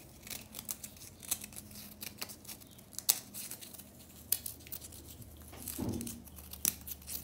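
Long nails scratch and flick at a small, solid pink remnant of a compressed powder bath bomb, with powder on the hands. The result is a quiet, bright run of dry, gritty scratches and sharp nail clicks. Near the end, a longer, fuller rub swells briefly before the ticks return.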